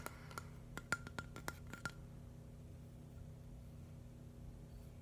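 A flat, hand-sized green and white mushroom mosaic built from plastic LEGO bricks is held and lightly tapped with fingernails. There is an irregular run of short, clicky plastic taps with a faint ringing tone around 1.4 kHz over the first two seconds. After that, only a low, steady background hum remains.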